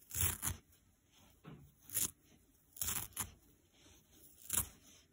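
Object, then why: Nylon scouring pad. A dry, detached green nylon scour pad is pulled and ripped into fibrous pieces with the fingers. Short, crisp tearing rasps come in separate bursts, bright and crackly with a soft low thump under each pull. Quiet pauses fall between the rips.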